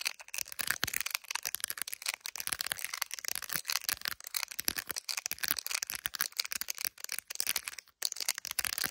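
Long nails rapidly tap and scratch the back of a handheld iPhone in a clear plastic gummy bear case. The result is a dense run of dry, bright clicks and scratchy rasps with almost no low end. Each tap stops almost instantly, with only brief gaps between bursts.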